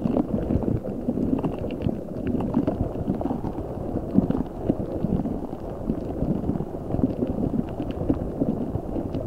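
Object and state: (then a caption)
Rubber spiky ball filled with water beads. A large translucent rubber spiky ball filled with gel water beads is squeezed and rubbed with fingertips and nails by both hands over the mic. The result is a steady, dense stream of low, squishy crackles and soft taps, with a faint bright rubbery squeak above.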